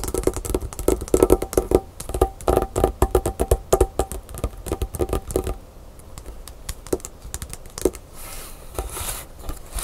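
Long pink nails on both hands tap quickly on a small, flat white paper envelope or card lying on a wooden table. A dense run of short, dry clicks with a papery low-mid tone fills the first five and a half seconds, then thins to scattered single taps over a soft, faint rustle.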